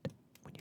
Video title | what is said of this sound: ASMR - Crystal Catalogue Vol. 3 | it even sounds like cement when you tap on it